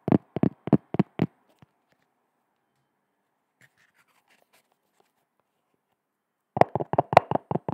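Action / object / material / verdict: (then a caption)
tap / cork surface / cork / none. Hands tap on a cork object, giving dull, short knocks with no ring. A quick run of five taps is followed by a long near-silent pause with a faint soft rustle, then a denser burst of rapid taps at the end.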